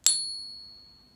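An authentic silver Buffalo bullion coin, one of the coins used to set the reference frequencies, is tapped once while resting in a Pinger holder. It gives a sharp click followed by a clear, high metallic ring with steady tones that fade slowly over about a second. All five of five reference peaks are heard, confirming the coin is genuine silver.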